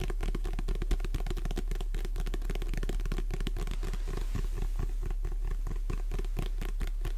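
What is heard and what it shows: A paperback book is held sideways while long red nails tap and scratch its glossy cover. The result is a dense, uneven stream of quick crisp taps and scratchy strokes over a steady low hum.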